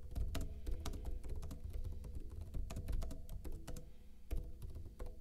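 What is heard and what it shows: Fingertips with short blue-painted nails type fast on a backlit plastic laptop keyboard with hollow keycaps. Quick, continuous key taps click out over a deep low thump, with brief bright clicks that die away almost at once.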